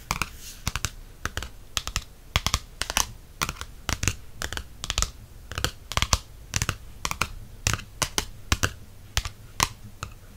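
Fingertips and nails tap quickly on the glossy cardstock back cover of a softcover paperback held in the hand. The result is rapid, irregular bursts of short, dry clicks with a bright edge and a soft low thump, with no ring after each tap and a faint hiss between them.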